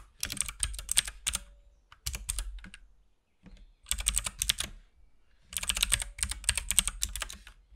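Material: Plastic.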